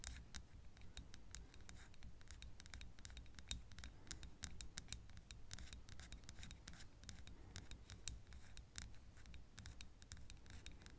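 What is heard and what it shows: Long acrylic nails tap and scratch a small glass perfume bottle, partly filled with yellow-green liquid, held close to the microphone. Quick, sharp, bright clicks and scratchy ticks come in a steady, irregular stream over a soft low hum. Each tap dies away almost at once.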